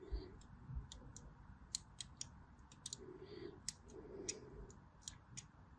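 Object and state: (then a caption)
Bar soap being cut. A blade scratches and cuts further lines into a solid white bar of soap already covered in diagonal grooves. A steady run of short, crisp, bright clicks sounds over a soft low rumble, each click dying away almost at once.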